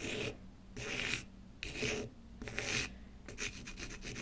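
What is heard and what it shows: A pen tip scratches the surface of a small, solid, light wooden block held by the left hand on a wooden table, in repeated rasp-like strokes. Four longer, bright, hissy scrapes are separated by short pauses, then a quicker run of short scratches follows. The sound is dry, with little ring after each stroke.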